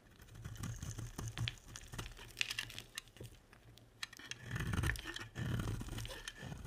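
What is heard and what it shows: A box-cutter blade scrapes curly shavings off a solid, translucent green bar of soap, hand-sized and held in the hand. The clip is full of quick, dry, crackly scratches and ticks with bright edges, rising in bursts over a steady low hum. Each short scrape stops right away.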